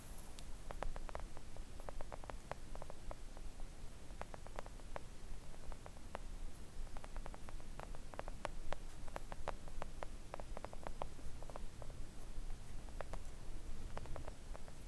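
Long coffin-shaped press-on nails on both hands gently tap a flat, thin, solid pink silicone nail art mat lying on a table. The taps are soft, quick, and clicky, scattered in irregular bursts throughout the clip. Beneath them runs a steady low rumble and faint hiss.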